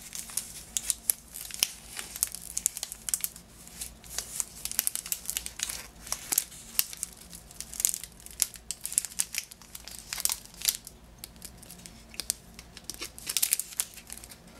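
Long nails scratch and crinkle the green cellophane wrap, tied with a ribbon, on a lemon-shaped Positano lemon package. The result is a steady stream of bright, crisp crinkling and sharp crackles that rise and fall in quick bursts, over a faint low hum.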